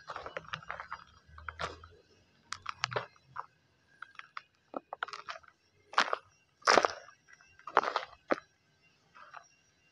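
Bare fingers rake, scratch and scoop through a plastic tub full of dry, loose brown soil mixed with small stones. The result is short, dry, gritty crunches and rustling bursts separated by brief pauses, with a few louder scoops toward the end.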